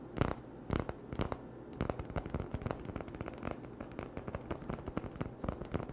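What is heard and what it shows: An empty, hollow cardboard toilet paper tube is scratched and tapped with short nails. A few spaced, dry taps come first, then a faster, denser run of scratchy crackles and clicks. The sounds are quiet, short and dull, with most of their weight in the low end and almost no ring.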